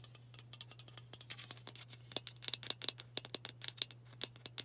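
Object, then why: Aluminium aerosol can with plastic cap. Long burgundy nails rapidly tap and scratch a White Dove aluminium spray deodorant can with a plastic cap, held sideways. About thirty quick, bright metallic clicks, some with a short tinny ring near 3.6 kHz, sit over a soft scratchy hiss and a steady low hum. The taps grow denser in the second half.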